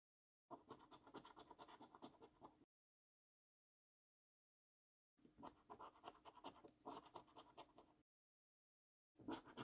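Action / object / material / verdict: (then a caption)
scrape / paper scratch card with scratch-off coating / paper / none. A coin scrapes the scratch-off coating of a thin, flat paper £15 National Lottery Luxury Lines scratch card in short, rapid strokes. The rasping scratches come in three bursts separated by silence, with the last burst cut off at the end. The sound is a dry, papery scrape centred in the midrange, with little low end.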